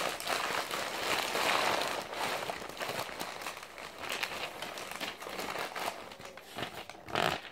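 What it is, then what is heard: Glossy paper pages. Fingertips squeeze, crumple and flip a crumpled stack of blue-and-white glossy printed magazine pages resting on a lap. The result is a dense, irregular run of crisp crinkling and crackling, bright and papery with almost no low end. The crackling swells in loud bursts near the start and again at the very end.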